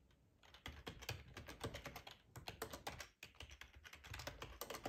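Fingertips type quickly on the keys of a black plastic ergonomic split keyboard with a hollow housing, resting on a cloth tablecloth. After a quiet first half-second, a steady stream of clacky keystrokes combines a hollow low thump with bright clicks, with a brief pause around three seconds before the typing resumes.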